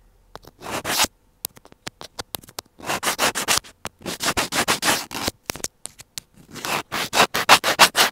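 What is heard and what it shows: A thin white plastic earphone cable with a small inline microphone is held between the fingers of one hand near the mic and connector, while the other hand scratches and rubs it with a pointed black tool, tweezers or a scissor tip. The contact on the microphone gives close, bright, gritty scratching in clusters of quick strokes, broken up by short, sharp ticks and brief silences.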